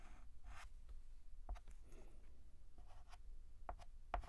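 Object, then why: Chalk on a chalkboard. White chalk is drawn across a black chalkboard in line strokes, beginning a new letter A. Short scratchy strokes with a faint squeaky tone near 700 Hz rise over a low, steady rumble.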